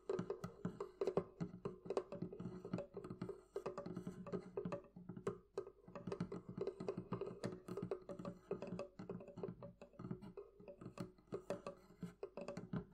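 Fingertips and nails tap quickly and continuously on the wooden part of a thrift-shop barrel chest. The knocks are short and dry with a hollow, woody tone centred around 390 Hz. Each hit dies away almost at once.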